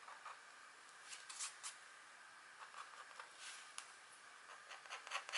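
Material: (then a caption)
Waxed card. A pointed green stylus, held in a hand with long nails, makes short strokes across a flat, thin, black wax-coated scratch art card lying on a table. Quiet, bright, dry scratching bursts rise above a faint steady hiss, with almost no low end. Each stroke stops quickly with no ring.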